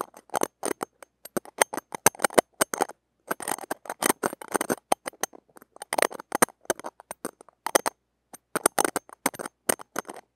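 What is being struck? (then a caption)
Small steel wire-mesh microphone grille scraped with metal tweezers. Metal tweezers scrape and pluck across the surface of a small, bare, hollow steel wire-mesh microphone grille. Bursts of short, crackly scratches and sharp clicks come in quick, uneven clusters separated by brief silences, with a bright, thin, close-up texture and almost no low end.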